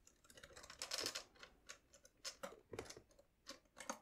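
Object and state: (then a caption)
Accordion keys and buttons. Fingertips press and tap the bass buttons and then the treble keys of a hollow, red pearloid celluloid-covered 72-bass piano accordion with plastic keys and buttons. The result is a quiet, irregular run of short, bright plastic clicks with little low end.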